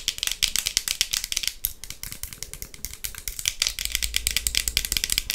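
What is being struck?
Clear plastic sunglasses.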